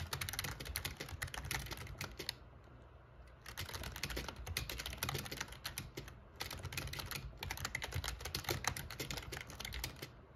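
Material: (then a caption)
Plastic. Fingertips type on the keys of a backlit black plastic gaming keyboard, producing rapid, bright clicking keystrokes in bursts. The typing pauses briefly around the two- to three-second mark and again near six seconds, leaving a steady low hum underneath throughout.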